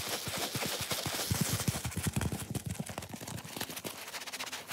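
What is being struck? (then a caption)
Foam sponge. A hand-sized, watermelon-shaped foam sponge, pink with black seed shapes and a white rope loop, soft, porous and wet with some soap suds, is scratched and rubbed by gloved fingertips. A fast, uneven run of short, damp scratching taps with low thumps and bright hiss goes on throughout.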